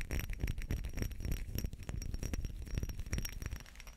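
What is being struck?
Small textured glass perfume bottle with metal cap.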